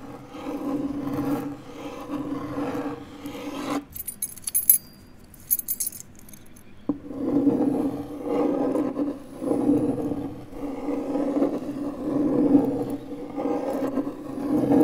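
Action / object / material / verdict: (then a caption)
scrape / MDF fiberboard panel and metal key / MDF / none. The tip of a metal car key, held in the fist, scratches small circles across a large, flat, pale MDF fiberboard panel lying on a desk. It produces a steady, rhythmic rasping scrape with a mid-low body that swells and fades with each loop. Midway the scraping pauses for a few seconds, leaving only faint, bright, jingly clicks, then the circular scraping resumes to the end.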